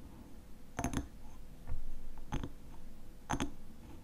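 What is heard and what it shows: A fingernail taps and scratches on the glass sides of a small hexagonal glass jar filled with honey. Six short, dull clicks come in three quick pairs, each with a faint bright edge and almost no ring, over a low, soft scratchy background.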